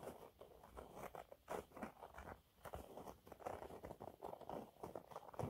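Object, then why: Cellulose sponge cloth. Fingernails scratch across a thin, flat, yellow textured cellulose sponge cloth. Quiet, dry crunching and rasping bursts follow one another rapidly, with most of the sound in the low-mid range and little brightness. Each scrape dies away almost at once.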